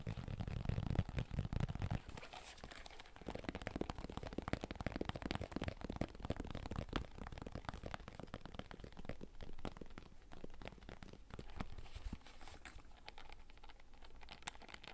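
A red, zippered, fabric-covered hard-shell console carrying case, hollow, is held up and rapidly tapped and scratched with fingertips. The result is a dense run of quick, dull, hollow taps with low thumps and soft scratchy friction, mostly low in tone and quiet throughout.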